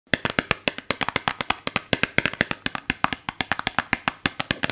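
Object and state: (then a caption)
Cardboard box tapped with nails. Long blue nails tap and scratch a small, hollow printed cardboard soap box held in the hands. About 35 quick, dry, bright clicks follow in an uneven rhythm, each dying almost instantly, with a faint scratchy rustle between them.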